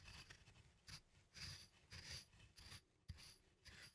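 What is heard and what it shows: A wooden pestle, held by plastic hands, is ground in a circular rubbing motion inside a small, hollow, apparently empty turned wooden mortar. The wood-on-wood contact makes a quiet, dry rasp that swells and fades in uneven strokes, bright and hissy on top with a low rumbling undertone.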